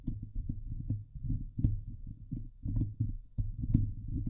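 Both hands scratch the hollow steel wire-mesh grille of a Blue Yeti microphone head with long painted nails. It makes a dense, boomy rumble of irregular scraping bursts, mostly deep low end, with occasional brighter scratchy ticks cutting through.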